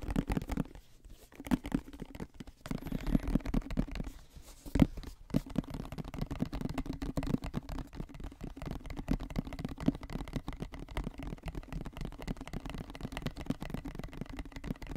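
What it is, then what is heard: Plastic lotion bottle. A medium white plastic lotion bottle with a green cap, contents not visible, is held in both hands near the microphone and tapped and scratched with fingertips and nails. Fast, dense, dry taps and scratchy crackles carry a hollow low tone around 258 Hz with very little high end. Brief lulls come near 1 and 4.5 seconds before the rapid tapping resumes steadily to the end.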